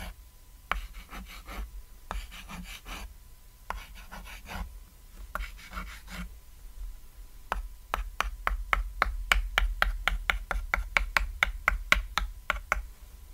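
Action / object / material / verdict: tap / small thin chalkboard / chalkboard / none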